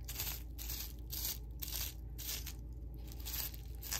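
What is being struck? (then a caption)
Plastic bubble wrap. Fingertips press down on a flat sheet of clear, small-bubble plastic bubble wrap lying on a table, popping the bubbles. Bright, crackly bursts come in a loose, uneven rhythm over a steady low rumble, each dying away almost instantly.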